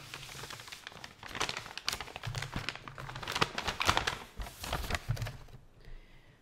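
An empty, hollow, medium-size blue paper gift bag is unfolded and opened with fingertips and long nails, rubbing the paper. This produces dense, bright crinkling and rustling in uneven bursts, with a few sharper crackles. The sound drops away near the end, leaving a faint, steady high tone.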